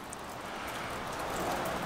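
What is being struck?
Nothing is struck.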